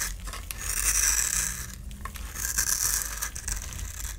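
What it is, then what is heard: Bar soap scraped into shavings. A solid orange bar of soap held in the palm is scraped and carved with a utility knife blade, peeling off crumbly shavings. Two long, bright, hissing scrapes swell and fade over a faint low rumble, with small crackles between strokes.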